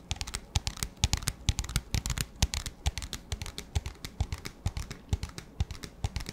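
An empty, transparent, hollow, clear plastic disposable cup with a black lid is tapped with fingertips and nails in a rapid, uneven stream of light taps. Each tap is a short, dry click with a bright tick over a soft low thump, and dies away almost instantly with no ring.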